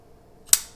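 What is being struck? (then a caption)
Folding knife, Damascus steel blade. A custom folding knife with a polished Damascus steel blade and a floating back spacer is flicked open. A single sharp snap is followed by a brief, high ringing ting, with a faint second tick just after. The ting is the maker's signature sound, thought to come from the floating back spacer.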